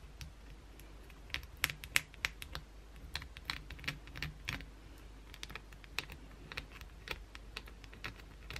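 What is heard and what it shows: Long, pointed blue acrylic nails scratch a solid white bar of soap held in the hand. Quick, irregular, crisp scratching clicks are heard, bright and dry with almost no ring, over a faint low background rumble.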